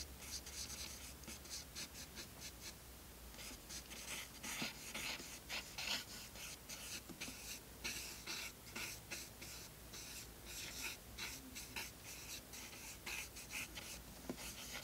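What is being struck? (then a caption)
Willow charcoal on toned sketchbook paper. A short willow charcoal stick held in the fingertips is drawn in quick, dark strokes across tan toned paper in a spiral sketchbook. It makes soft, bright, scratchy rasps as it rubs and scratches the paper surface, in a steady run of brief strokes over a faint low hum.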